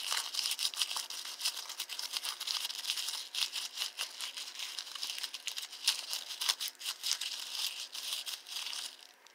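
A small balled-up paper receipt is pinched between the fingertips and thumb, then crinkled and rubbed. It makes a dense, bright crackling of quick dry snaps with almost no low end, continuing steadily for about nine seconds before thinning out at the end.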